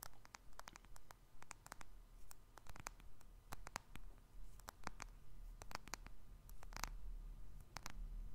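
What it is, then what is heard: Smartphone, tapped with fingernails. Fingertips and nails tap on the glass surface and metal sides of a small black smartphone with a silver edge, held in both hands. The result is a soft, irregular patter of quick, bright clicks over a low, steady hum.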